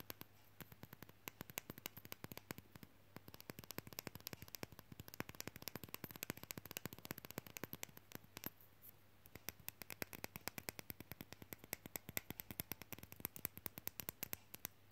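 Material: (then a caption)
Wood. A small, solid painted wooden matryoshka nesting-doll fridge magnet, held in one hand, is tapped quickly with long fingernails and fingertips. It makes a steady stream of short, dry, bright clicks and taps that die away almost instantly, over a faint low hum.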